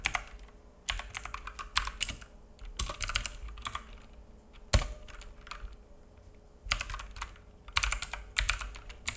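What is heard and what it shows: Fingertips of both hands type on a black full-size mechanical keyboard with plastic keycaps and a hollow case, resting on a wooden desk. Bright, clacky key taps come in quick flurries separated by short pauses, with one louder, deeper thock partway through. A faint steady hum sits underneath.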